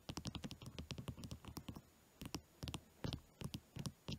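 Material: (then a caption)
Wood. A solid, orange-varnished wooden pencil, held between both hands over a blanket, is rapidly tapped and scratched along its shaft with fingernails. About two dozen quiet, dry, short clicks and scrapes come in quick clusters, with a brief pause near the middle. Each tick has a soft low body and a bright crisp edge, and dies away almost instantly.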